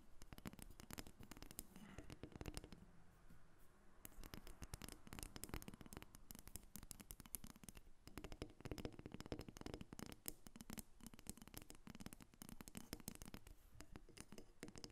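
A small, solid carved wooden dolphin figurine resting on a glass table is tapped and scratched with long acrylic nails. Dense, rapid, dry clicks with a low, woody body and bright edges run throughout, broken by a brief softer scratching stretch near the start.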